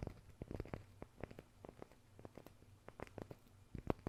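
Fingers tap on a wooden surface, picked up by a Maono DM30 RGB gaming microphone. About twenty soft, dull taps come in irregular clusters, with low, muffled thumps and almost no ring.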